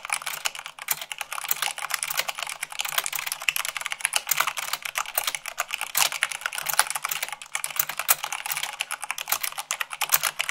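Fingertips and long nails type fast, at about 98 words per minute, on white plastic keycaps of a black mechanical keyboard. The result is a dense, steady stream of sharp, bright clacks with almost no low end, each click dying out almost instantly.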